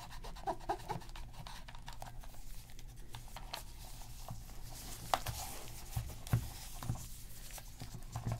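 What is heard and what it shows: A black PS3 plastic game controller, flipped over and held in gloved hands, has a cotton swab scratched along its plastic seams and underside. Soft, quiet scratching and rubbing runs throughout over a low, steady background, punctuated by brief, sharper ticks and scrapes, especially in the second half.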